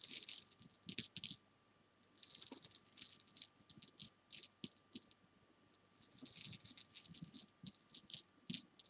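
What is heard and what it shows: Long painted nails tap and scratch small solid jelly bean candies spread on fabric, making a dry, bright rattle. Dense bursts of crisp clicking and scraping come and go, with brief silent pauses between clusters.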